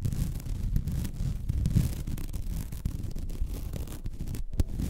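Long red nails scratch the surface of a flat, white woven vinyl mesh placemat. The result is a continuous, rough, low-heavy scratching and rubbing texture with small rapid ticks, dry with no ring, and a sharper louder scrape near the end.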